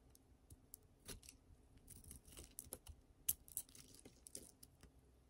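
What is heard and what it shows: A utility knife blade scrapes and carves a solid oval bar of dry pink soap held in the palm, breaking its surface into chunks and flakes while a green bar lies untouched nearby. Quiet, crisp scraping and crunchy cuts come as a string of short, dry, bright clicks with faint low thuds beneath.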